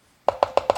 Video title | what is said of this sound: Honu Tahitian Ukulele Review | this plate that goes to the top is very very thin you can feel it hear it when you tap it